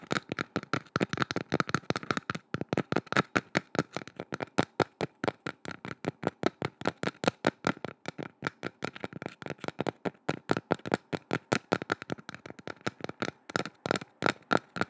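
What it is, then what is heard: Wooden board. A small, flat, solid wooden board or platter, held horizontally above the mic, is tapped and scratched with long nails and fingertips. About 78 quick, dry, sharp clicks come in a steady rapid stream over 15 seconds, each dying almost instantly. Their hollow woody tone sits in the low-mids with a brighter knock around 1 kHz.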